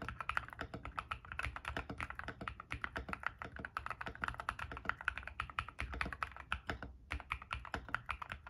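Fast fingertip typing on an ilovbee i61, a white-case 60% mechanical keyboard with Frankenswitch switches (P3 stem) and white and grey PBT plastic keycaps, resting on a desk mat. The dense run of short, clacky key presses centres around 1.5 kHz with a low thock beneath. It pauses briefly near the seven-second mark before resuming.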